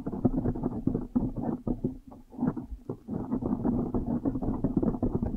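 Long nails scratch fast across the top of a blue foam windscreen on a microphone, making a dense, muffled rustling and thumping with a low hum near 250 Hz and almost nothing bright. The scratching runs in quick bursts, briefly easing around the middle before picking back up steadily to the end.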